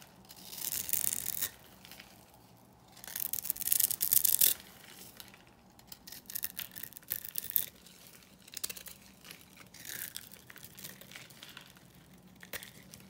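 A small metal blade scrapes cubes and flakes off the pre-scored surface of a solid lilac bar of dry lavender soap held in the hand. Quiet, bright, gritty scraping and crumbling comes in uneven bursts separated by near-silent pauses.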